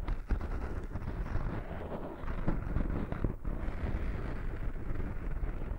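Fingertips and short nails of one hand scratch and rub the surface of a small, soft, porous black foam windscreen over a microphone. The result is a continuous, muffled, low rumbling scrape with crackly texture and little high-end brightness, swelling slightly louder partway through.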